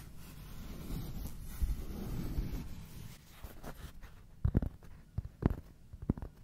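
A large, solid, round flat cork board or coaster is held in both hands close to the microphone while fingertips and short nails scratch and tap its rough, granulated surface. About three seconds of soft, steady, low scratching rustle give way to quieter, sparse scraping and then several dull, short taps with almost no ring.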